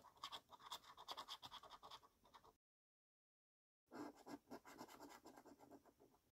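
A coin scratches down a column of latex-covered numbers on a yellow paper scratchcard, making rapid, gritty scrapes with a bright, raspy edge. After a short silence, a second run of scraping comes in with a slightly lower, fuller tone.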